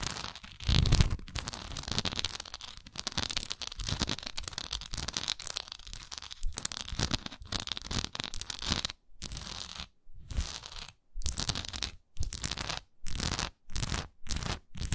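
Long nails scratch and tap the textured sides of a large, solid wax pillar candle with a raised swirl relief, standing upright. A dense, crackly scratching runs almost continuously through the first nine seconds. It then breaks into short, crisp bursts separated by brief silences.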